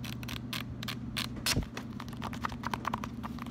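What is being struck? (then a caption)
Paper sticky note pad. Fingertips bend, riffle and scratch the pages and edges of a small, solid pink paper sticky note pad. The result is a quick run of dry, papery flicks and scratchy rustles with bright edges, over a steady low hum. One slightly louder scrape stands out partway through.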